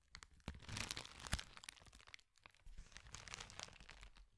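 A hand-sized sheet of thin, flexible, clear plastic bubble wrap is held in front of a microphone and crumpled and crinkled with the fingers. It makes dense, bright crackling and crinkling with sharp snaps over a low rumble, quiet overall. There is a brief lull midway before a second stretch of crinkling.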